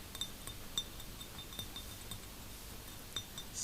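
Fingers tap lightly on a small glass vase, giving soft, sparse clinks with a bright, high ring around 3.6 kHz that fades almost at once. The taps sit over a quiet, steady low background.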